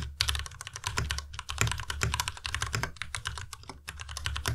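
Fingertips type steadily on a white Ducky Miya Pro tenkeyless mechanical keyboard with plastic keycaps, producing a dense run of quick, bright key clacks with short decays. A steady low hum sits underneath the typing throughout.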